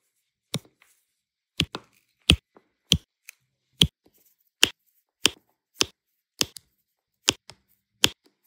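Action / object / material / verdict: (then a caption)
tap / small resin drills and a plastic placer tool on adhesive canvas / resin / none. A pink plastic multi-placer tool taps and presses small, solid turquoise resin diamond-painting drills onto an adhesive canvas. The result is a steady series of short, dry, bright clicks, some followed by a softer tap, each dying away almost instantly.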